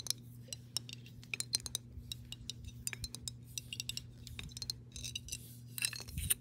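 Long pink nails tap and scratch the side and base of a clear, embossed glass mason jar that is hollow and partly filled with water. The result is a rapid, irregular series of sharp, bright glassy clicks and clinks that die away almost instantly, mixed with softer scratchy rasps. A steady low hum runs underneath throughout.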